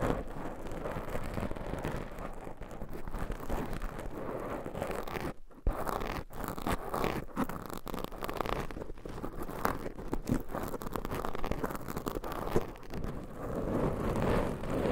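Long pointed nail tips scratch two black foam microphone windscreens, producing a steady, dense crackling scrape with a muffled low rustle throughout. A brief near-silent gap around the middle is followed by continued scratching.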